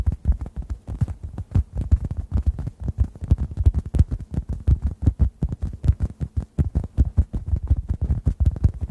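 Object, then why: Synthetic foam sponge. Fingertips tap a hand-sized, solid, yellow-orange synthetic foam sponge held above the microphones. The result is a rapid, uneven series of soft, muffled low thuds that die away almost instantly, with nearly all the sound in the deep low end and no bright content.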